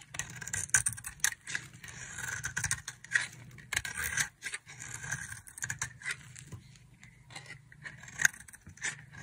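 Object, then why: Bar of soap scraped with a knife blade. A utility knife blade shaves a solid, palm-sized, oval pink bar of dry soap, scraping off curls. The result is a run of dry, crisp, bright scraping strokes with short rasping bursts and sharper clicks, over a faint low hum.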